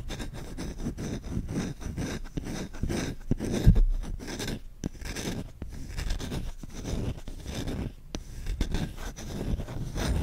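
A large solid wooden spoon with a grained bowl is held close to the mic while short fingertips and nails scratch quickly across the bowl. The result is a dense, continuous run of fast rasping scratches, heavy in low, muffled tones, with a few brief pauses and slightly louder strokes.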